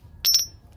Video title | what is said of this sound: 女子租房捡漏，江南无纪年想卖百万，还笑话别人不识货【大哥谈银圆】 | it also sounds like metal But not the gold of the past